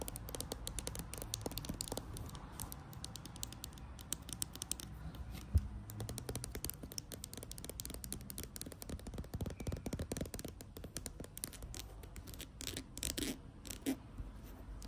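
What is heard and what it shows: Long acrylic nails rapidly tap and scratch the front and back of a plastic Maybelline Fit Me squeeze tube filled with foundation. The result is a steady, quiet stream of dense, short clicks and scratchy rasps with a dull, low-heavy body, with a few sharper taps standing out.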